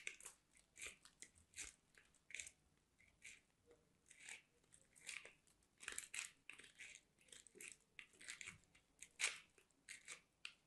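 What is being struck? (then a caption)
Soap bar on a metal box grater. A white solid soap bar is rubbed along a small handheld metal box grater in repeated scraping, grating strokes. Each stroke makes a short, crisp, bright rasping crunch with almost no low end, separated by brief near-silent gaps. The result is a quiet, close-up series of dry scratchy bursts across the clip.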